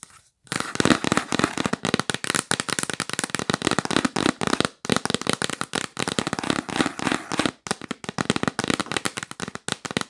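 Long nails tap fast and aggressively on the lid of a yellow printed cardboard box held upright, making a dense run of sharp, dry, bright clicks with a hollow papery body. The tapping comes in rapid bursts with brief pauses after the start, near the middle, and toward the end.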